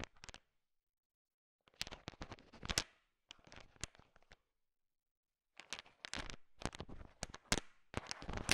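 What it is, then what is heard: Candy-coated chocolates clicking. A thin wooden stick stirs a large pile of small, solid, sugar-shell-coated chocolate M&M candies, so the candies click and rattle against each other. The clicks come in short bursts of bright, dense, crackling ticks separated by silent pauses, ending in a longer, busier stretch of stirring.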